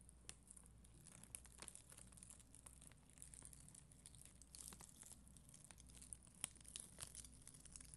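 A spoolie brush scratches across a red and clear acrylic rhinestone sticker sheet, possibly inside a plastic sleeve. The sound is a quiet, steady crinkly scratching with a bright high hiss, scattered with brief sharp ticks as the bristles catch on the gems. A low, constant hum sits underneath.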